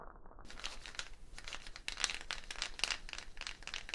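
A hollow dried gourd shaker wrapped in a wooden bead net is held up and shaken or rotated, its beads rattling against the shell. The result is a dense, bright, crinkly rattle of quick dry clicks that swells and fades in short bursts, with no ringing tail. It starts muffled for the first half-second before opening up.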